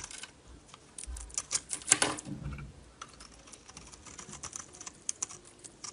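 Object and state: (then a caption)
Bar of soap being shaved. A solid blue-coated bar of Duru soap with a purple inside is held in the hand and shaved with a metal utility knife blade. Quick, dry, bright scraping ticks come in irregular bursts, with a louder, denser stretch of shaving near the middle before lighter flicks resume.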